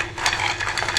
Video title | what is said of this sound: Besan Ki Boondi - Homemade Pakorian Recipe - Besan Ki Phulkian | आपको आवाज से पता चल रहा होगा कि ये कितनी खस्ता बनी है